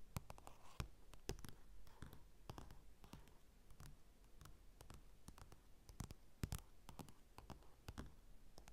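Fingertips and short nails scratch and tap across the cover of a flat glossy paper magazine with a Chanel Chance ad, lying on a dark table with a mini mic resting on it. Quiet, dry, rapid clicks and sharp taps stand out over a soft continuous scratching rustle, each tap stopping instantly with no ring. The taps sound thin and solid rather than hollow, with most of their weight in a low thump.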